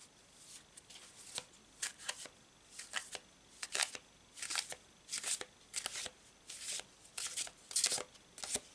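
A hand-sized Thoth Tarot deck of coated paper cardstock cards, held as a solid stack in both hands, is overhand-shuffled with the fingers so the cards slide and rub against each other. The result is a series of quiet, bright, papery swishes and soft flicks in irregular bursts, with almost no low end and short gaps of near silence between them.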